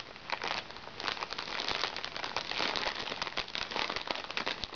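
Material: Plastic film.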